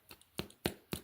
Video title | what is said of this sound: Fabulous Bread | It's nice and firm. And I can hear it's hollow inside.